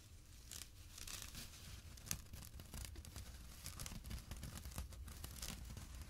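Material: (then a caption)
Jute burlap. Fingertips and short nails scratch the coarse weave of a small, empty jute burlap drawstring pouch lying on dark cloth. The result is a quiet, continuous rough rasping with bright, papery bursts of scratchy hiss over a low rumble, steady for about six seconds.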